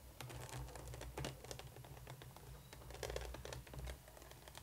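A hollow black plastic coffin-shaped Monster High Neon Frights Draculaura doll case with pink and yellow plastic compartment doors lies flat and is rapidly tapped and scratched with the long painted nails of both hands. The result is a quick, dense stream of light clicky taps and scratchy strokes over a steady low hum.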